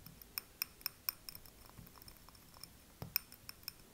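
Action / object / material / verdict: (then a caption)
tap / small wax-filled glass candle jar / glass / none. Fingertips and nails tap and scratch the glass sides of a small, wax-filled, tealight-style glass candle jar held in both hands. The result is a quiet series of sharp, bright clinks with almost no ring, spaced irregularly between softer scratchy ticks and a few faint low bumps.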